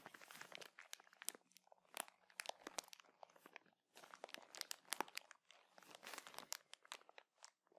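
A small clear plastic bag full of cotton buds is held in both hands and crinkled and scratched with fingertips and nails. Dense, bright crackling comes in bursts of sharp snaps and crinkles, separated by brief quiet gaps, with no low end.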